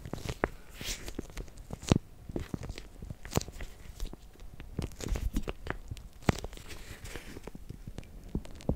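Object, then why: Plastic zip bag of gel water beads. A clear, hand-sized plastic zip bag partly filled with many small gel water beads is held in both hands with long painted nails, then squeezed and shaken. The beads shift with soft, squishy shuffles while the plastic crinkles in quick, dry snaps, weighted toward low tones with occasional brighter crackles. It stays quiet and close throughout, with no ringing after each crinkle.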